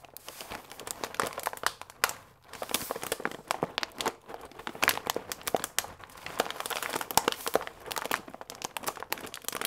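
A paper pasta bag with a clear plastic window, full of dry fusilli, is held upright and squeezed and crinkled with fingertips and nails, making the pasta inside shift. Dense, crisp crinkles and dry crackles come in bright, rapid bursts with almost no low end. Brief quiet gaps fall near 2.4 and 4.1 seconds.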